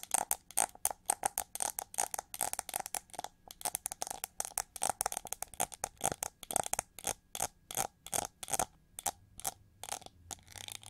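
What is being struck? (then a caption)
Ridged plastic hair brush back. Long gold nails scratch and tap the hollow, ridged wing-shaped back of a hand-sized gold chrome-plated plastic hair brush with pink bristles. About fifty quick, dry clicks and short scrapes come in a steady rhythm, each with a hollow plastic tone around 790 Hz and a bright, hissy top. Each stops at once with no ring.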